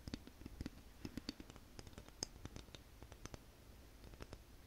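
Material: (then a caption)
Wood. Long nails tap and flick along the teeth and spine of a light, solid wooden wide-tooth comb. The result is a quiet, irregular run of dry, sharp clicks with bright, high tops that stop instantly with no ring, over a soft low rumble.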